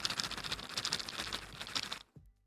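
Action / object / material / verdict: shake / snack bag of crackers / crackers / none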